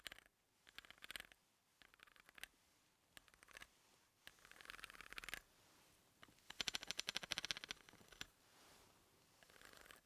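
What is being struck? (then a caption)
Threaded steel bolt. Fingers hold a pencil and tap and scratch its tip along the threads of a large, solid, hex-headed steel bolt lying on a dark table. Quiet bursts of rapid, bright, ticking scrapes come in uneven clusters with short pauses between them. The sound has almost no low end, and each tick dies away almost instantly.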